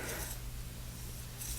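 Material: Nothing is struck.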